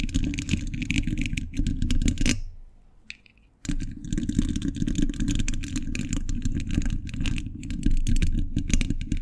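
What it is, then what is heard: Steel mesh microphone grille being scratched and tapped. Metal thimbles tap and scratch rapidly across a hollow steel mesh microphone grille, producing a dense, boomy low rumble layered with bright, crisp scraping clicks. The sound breaks off for about a second, with a single faint tap in the near-silence, then resumes just as busy and continues to the end.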